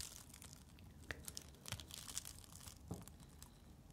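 A glowing coil of thin, flexible plastic tube is held close up while fingertips and long nails rub, squeeze and scratch its loops. The result is quiet, crinkly, scratchy rustling with bright, sharp ticks and a few soft, low bumps scattered throughout.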